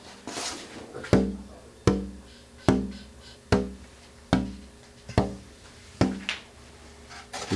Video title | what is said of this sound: Imagine - The Story of the Guitar Episode 1 Of 3 | when you tap this it makes vibrations happen on the inside in the air chamber